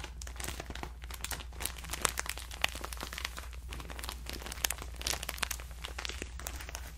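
A hand-sized, soft, clear plastic packaging bag full of cotton rounds is held in both hands and squeezed and crinkled with the fingertips. It makes a dense stream of bright, crisp crinkles and crackles over a steady low hum, with no clear pause throughout.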